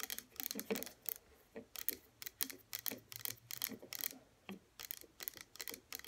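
Long natural fingernails rapidly tap the front and sides of a small pink plastic hair serum bottle (97 ml) standing upright on a table, hollow and partly filled with liquid. About twenty quick, dry, bright clicks sound in uneven bursts, each dying away almost instantly, with a faint low hum beneath.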